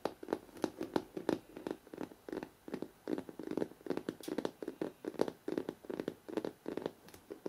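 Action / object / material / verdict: tap / hardcover book with glossy paper cover / cardboard / none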